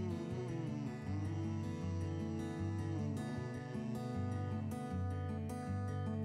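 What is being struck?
Nothing is struck.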